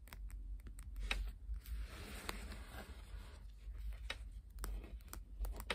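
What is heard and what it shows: Long painted nails and fingertips tap and scratch the top and edges of a single Uno card deck, its coated paper and cardboard cards stacked solid, held and resting on a wooden table. Sharp, bright clicking taps come in an irregular series, with a longer, softer scratchy rustle in the middle, all over a steady low rumble.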